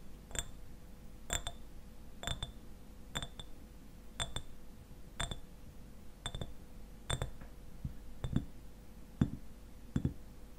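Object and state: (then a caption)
Glass eyewash bottle tapped with fingernails. Fingernails tap a clear glass eyewash bottle, partly filled with liquid and standing upright. The taps come in a steady, roughly evenly spaced run, some in quick pairs, each a short bright clink with high glassy overtones that die away almost at once. A faint steady hum sits underneath.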